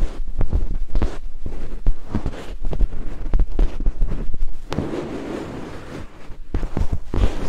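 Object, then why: Silicone binaural microphone ear. Two thin wooden picks held in fingertips stroke and scrape along the hollow, hand-sized white silicone ears of a 3Dio binaural microphone. The result is a close, muffled run of soft rubbing and scratching, heavy in low rumble, broken by dull thuds.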